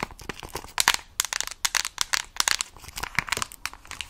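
Long nails tap and scratch the back of a Nintendo Switch Lite in a mint plastic case held close to the mic. The result is a rapid, uneven run of crisp, bright clicks and crinkly scrapes that die away almost instantly, with very little low end.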